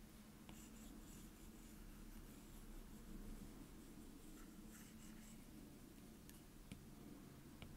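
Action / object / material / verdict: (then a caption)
scrape / plastic stylus tip on a glass touchscreen / glass / none. A plastic Apple Pencil tip scribbles to fill in a circle on the glass touchscreen of an iPad, making a steady, quiet scratching and rubbing on the glass. The sound stays soft and even throughout, weighted toward a low hum, with faint brighter ticks now and then.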